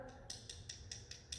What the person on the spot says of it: knock on it and it makes a hollow sound and you know it's dry